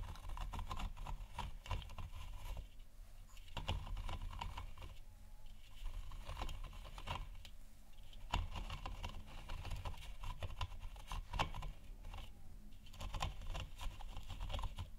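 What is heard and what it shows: Fingertips and nails of both hands tap the sides of a hollow, lit plastic moon lamp sphere. The result is a quiet, rapid patter of soft, dull taps with a low hollow body and short decay, coming in bursts with brief pauses between them.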